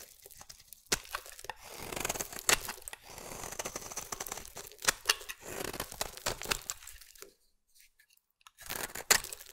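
A metal utility blade scrapes a solid green bar of soap into shavings. The result is bright, crunchy, tearing scrapes broken by sharp clicks. The scraping falls silent for about a second near the end, then resumes briefly.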